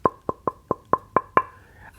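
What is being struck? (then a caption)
Solid wooden guitar body blank. A wooden blank for a solid-body electric guitar body is tapped seven times in quick succession, as builders do to check its tap tone. Each tap is a short, dry knock with a brief tone near 1 kHz that fades almost at once, and the last tap rings slightly longer.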